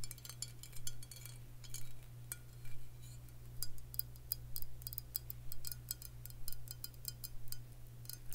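A faceted Crown Royal Vanilla glass whisky bottle filled with amber liquid is held and tapped with long fingernails. It produces quick, bright clicking taps with almost no ring, in loose clusters over a steady low hum.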